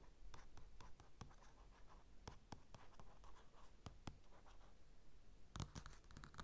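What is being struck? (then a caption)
Glossy paper magazine. Fingertips and nails of both hands quickly scratch and tap the cover of a flat glossy paper magazine lying on a dark table, with a mini mic resting on it. Quiet, dry scratching runs throughout, broken by sharp, crisp taps that die away instantly, with a denser burst of taps near the end. A faint low rumble sits underneath.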